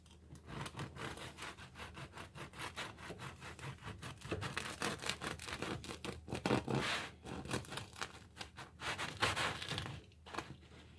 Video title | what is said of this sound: Pay Day Prep & a Bonus Afterward With Announcement at End | the crust sounds pretty good